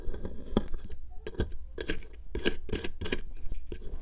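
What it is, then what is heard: Plaster excavation block being scraped. A hand with long nails scratches and scrapes a solid pink plaster excavation block, out of its tray and resting on a dark mat, with a metal pick tool. It gives a run of short, dry, gritty scraping bursts with bright, hissy edges over a low rumble.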